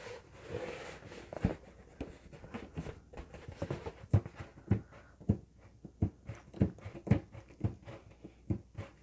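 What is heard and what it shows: Fingertips and nails rub and scratch the surface of an inflated, hollow, green LED-lit latex balloon held in the hands. Soft, dry rubbing and scratching is broken by irregular, dull, low thumps and taps with very short decay, all quiet and bass-heavy.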